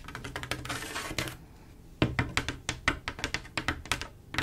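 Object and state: Glass mosaic tile panel tapped with nails.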